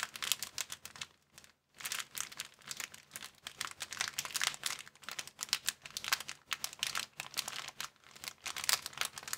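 Hands crumple and crinkle a thin, empty, transparent plastic bag, making dense, bright crackling that comes in rapid bursts. After a short silent gap near the start, the crinkling resumes and continues steadily to the end, with no low-end body.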